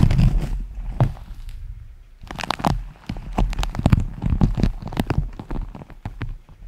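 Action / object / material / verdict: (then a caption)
tap / beeswax-coated fabric food wrap / waxed fabric / none. A striped beeswax-coated fabric food wrap, pressed into a stiff hollow dome and held in both hands, is tapped and scratched with fingertips and nails. It gives dull, hollow, clip-clop-like taps with a heavy low end and brief crinkly scratches that die away almost at once, with a short lull near the two-second mark before the tapping resumes.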